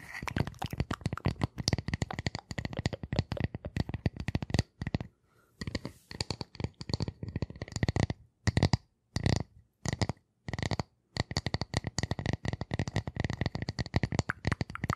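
Long nails scratch and tap rapidly across the face of a flat, solid, light-colored round wooden disc. The result is a dense stream of short, dry, low-heavy clicks with a bright edge. It pauses briefly around the middle before resuming.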